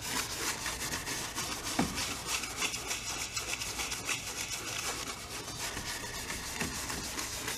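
A wide bristle brush is rubbed in criss-cross strokes over the painted surface of a medium stretched cotton painting canvas on an easel, hollow-backed. The result is a continuous, bright, scratchy brushing texture of quick, irregular strokes at a steady, quiet level, with one slightly louder stroke early on.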